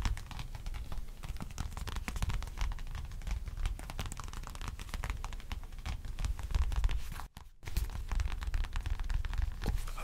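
A small black wallet, likely leather, is held in both hands beside a microphone while fingertips tap and nails scratch across its surface and edges. The result is a dense, continuous stream of soft scratching and tapping with a heavy low-end rumble, broken by a brief silence at about seven seconds before the scratching resumes.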